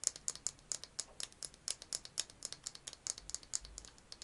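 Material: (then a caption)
Plastic. A small hollow pink plastic egg-shaped case, held in both hands, is tapped and scratched with fingernails. The result is a quick run of about 27 sharp, dry, bright clicks and scratchy ticks with no low end and almost no ring.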